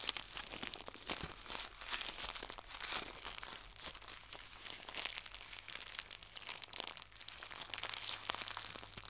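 Fingertips with red nails twist, stretch and crumple a small white crinkly plastic gift bow pulled into two lobes. A dense, continuous stream of bright, sharp crinkles and crackles fills the clip, with occasional louder crunchy bursts. A faint steady low hum sits underneath.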